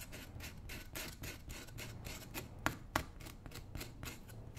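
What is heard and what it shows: A small metal tool scrapes and scratches along the upper of a worn brown roughout leather work boot, worn on a foot and held by hand. Quick, rough rasping strokes repeat at a steady-ish rhythm, about three or four per second, with a low rumble underneath and two sharper clicks standing out near the middle.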